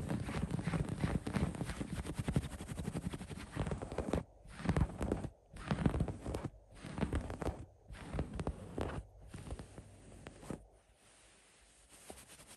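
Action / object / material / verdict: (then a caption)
scrape / cotton patchwork quilt / cotton fabric / none. Fingertips and nails scratch and rub a patchwork cotton quilt with black, brown and printed cotton patches. A dense, muffled, low-heavy rustling runs for the first few seconds, then breaks into short bursts of scratching separated by brief silences. It grows quieter toward the end.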